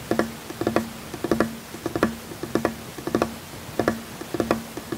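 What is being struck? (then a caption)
Wooden tabletop. Fingertips tap rhythmically on a large, solid, flat wooden tabletop, giving 17 short, dry knocks in repeating clustered patterns. Each tap has a woody low-mid tone with a faint hum underneath and dies away almost at once.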